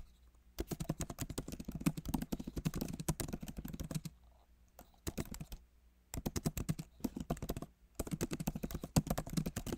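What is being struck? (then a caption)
Laptop keyboard, plastic keys in metal body. Both hands type with fingertips on the plastic keys of a solid, backlit MacBook Pro keyboard set in an aluminum body. The result is bursts of soft, fast, low-pitched clicks. They are broken by short pauses of near silence.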